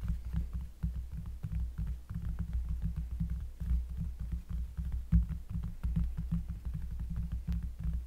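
Fingers tap rapidly and steadily on a cork surface close to the microphone, producing a dense run of deep, bassy thuds. Each tap is a soft, muffled thump centered low around 62 Hz that dies away quickly, with only faint brighter clicks on top.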